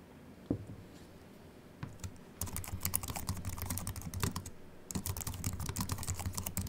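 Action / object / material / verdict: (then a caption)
tap / aluminium keyboard with plastic keys / aluminium, plastic / none. Fingertips type on a slim Apple Mac keyboard with an aluminium body and white plastic keys, first with one hand and then with both. A few isolated taps give way to rapid runs of short, bright clicks over a low background rumble, with a brief pause before the dense typing resumes.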